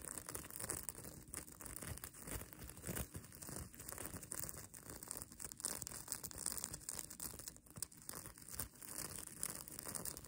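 Long nails scratch and flip the multicolor reversible plastic sequins sewn onto the soft, flexible fabric of a mermaid tail blanket. The result is a steady, dense bright crinkling and scratching, full of quick clicky ticks that swell and fade over a low rumble.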